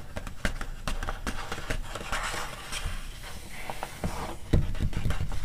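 Fingertips and long nails scratch and tap the coated paper of a glossy animal magazine, open to an illustrated spread about evolution. Soft, irregular taps with dull low thumps mix with brushing, papery scratches that turn briefly brighter midway. The tapping grows firmer near the end.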